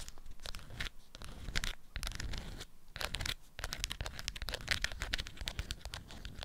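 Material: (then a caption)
Waxed fabric. Long acrylic nails scratch and crinkle the waxed folds of a lemon-print beeswax cloth wrapped around a small item. Close, crackly bursts of bright rustling and crunching come in quick, irregular strokes with short pauses between, over a low, soft rumble of handling.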